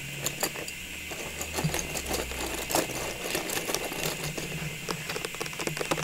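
Long pink nails tap a hollow, cylindrical clear plastic tube filled with small Christmas ornaments while it is held in the hands. The result is a quick, irregular run of light, bright plastic clicks with a faint rattle from the ornaments inside. A steady low hum runs underneath throughout.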